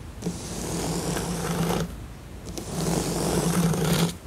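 Long nails scratch and rub across the pieces of a flat, glossy printed cardboard jigsaw puzzle. Two long scraping strokes give a broadband hiss over a low hum, separated by a short pause.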